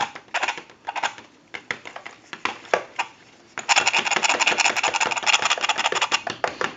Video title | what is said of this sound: Western Electric 302 Rotary Telephone Repair www.A1-Telephone.com 618-235-6959 | shake it a little bit if you can hear that rattling around in the handset